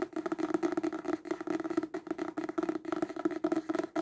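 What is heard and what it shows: A paperback book is held upright and tapped fast on its cover with the fingertips and nails. The result is a rapid, steady stream of short, dry, papery taps with a hollow mid tone near 330 Hz and almost no ring after each tap.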